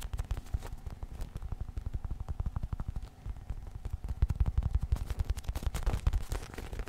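Fingertips and nails scratch and tap a small, soft polyurethane foam squishy unicorn toy held close to the microphone. The result is a steady run of rapid, dull, low thumps and soft crackles, each dying away almost instantly, with the tapping growing louder in the second half.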